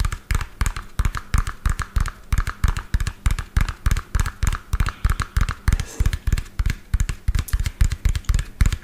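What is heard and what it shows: A medium lime-green hollow plastic toy dump truck with an empty tipper bed is held in the hand and tapped quickly with fingertips and fingernails close to the microphone. The result is a fast, slightly uneven stream of deep, hollow thuds, each with a faint click on top and a very short decay.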